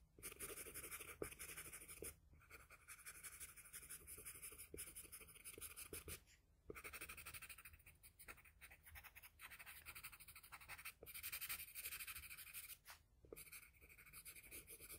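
A graphite-tipped wooden pencil makes rapid, short scratching strokes across a flat sheet of drawing paper on a table while shading a face. The bright, dry hiss of the strokes runs in bursts, broken by brief pauses around 2, 6.5 and 13 seconds.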